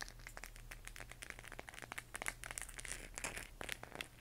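A hollow plastic LED moon lamp glowing cyan is held in both hands and tapped and scratched with long nails on its textured surface. The result is a quiet, rapid stream of short, dry, bright clicks and scratchy, crinkly taps that die away almost instantly, over a faint steady low hum.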